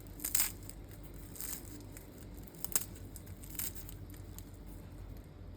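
Hot, freshly baked cream-sauced filo börek, baked at 180 °C, is torn and broken apart, giving sharp crunching and crinkling crackles over a low steady hum. The crisp bursts show a crispy, well-baked crust.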